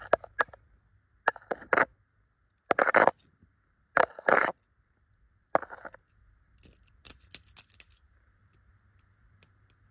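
Long clear and glitter pointed nail extensions scratch and brush over the tufts of a yellow chenille tufted pillow fabric. Short, dry bursts of scratchy rustling come in quick clusters separated by silence, fading into softer scattered ticks and light scratches toward the end.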